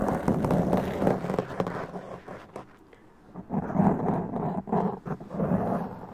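Both hands scratch a black foam windscreen on a large condenser microphone with long press-on nails, making dense, rustling, muffled scratches with a low, boomy rumble. The scratching thins to a near pause in the middle, then returns in strong, close bursts.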